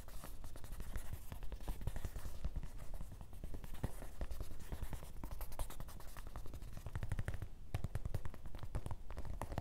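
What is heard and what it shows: Fingertips of both hands tap quickly and continuously on the front fabric panel of a grey canvas fanny pack resting on a table. The result is a dense, steady patter of soft, dull, low thuds that die away almost at once, with faint scratchy texture mixed in.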